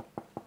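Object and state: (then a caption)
Weight-relieved solid-body guitar. Two knocks on the back of a weight-relieved, not fully chambered, Les Paul solid-body electric guitar's wooden body, each giving a short, dull, midrange thump that dies away quickly. The resonance reveals to an experienced ear that the body is weight relieved.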